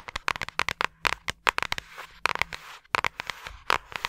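Long acrylic nails tap and scratch the surface of a flat yellow paper envelope or card held in both hands near the microphone. About twenty sharp, crisp clicks come in quick, uneven bursts, with soft, bright, papery scratching between them.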